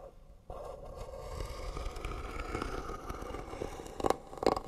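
Fingernails scratch along the lid edge of a hollow white wooden box with pearl trim. After a brief quiet start, a steady, rasping scrape with a mid-range hollow tone runs continuously, ending with two louder, sharper strokes near the end.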